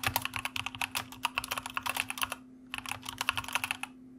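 A white plastic mechanical computer keyboard is typed on with the fingertips of both hands, producing rapid, bright, sharp clicks with a brief pause just before the halfway point. A faint steady low hum runs underneath.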